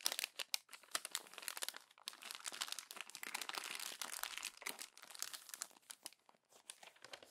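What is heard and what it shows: Fingertips and long nails crumple and press the pages of an open glossy paper magazine, producing dense, bright crinkling and rubbing with quick crackling bursts. The sound is steady and close, with almost no low end and no ring after each crackle.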